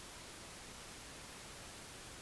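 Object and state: Nothing is struck.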